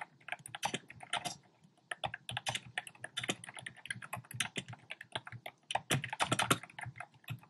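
Fingertips type rapid key taps on a compact black plastic typewriter-style keyboard with round plastic keycaps. Dense, quick clicks with short, bright attacks and almost no ring form an uneven stream, with a brief lull near two seconds.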